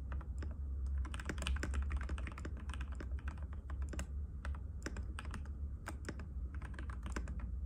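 Fingertips of both hands type continuously on a compact cream-white mechanical keyboard with plastic keycaps and a hollow case, resting on a glass table. Rapid, crisp clicking taps run together over a steady low hum.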